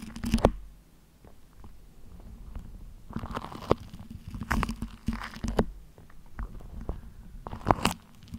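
A thin beige printed paper sheet or wrapper, held spread out, is crinkled and scratched with long nails. Sharp, dry crackles and scrapes come in bursts over a steady low hum.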